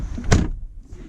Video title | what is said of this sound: 2019 Audi Q8 - Technological Luxury | even if you slam it it sounds good